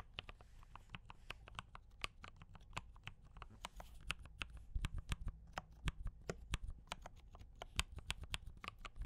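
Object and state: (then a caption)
Mechanical keyboard typing. Both hands type continuously with fingertip taps on a compact D84 mechanical keyboard with brown switches and cream and red plastic keycaps. About 32 short, sharp, bright keystroke clicks stand out, each dying away almost instantly, over a steady low rumble.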